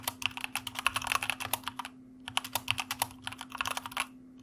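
Fingertips of both hands type on a white mechanical computer keyboard with plastic keycaps. The result is quick, bright, dry clicks in two bursts separated by a brief pause, over a faint steady low hum.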